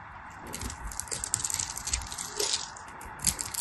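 A knife blade carves a solid bar of dry purple soap with white stripes, held in the fingers, into small cubes and chips. Crisp, bright scraping crackles and short dry clicks come in quick irregular bursts, with a few sharper snaps as pieces break away.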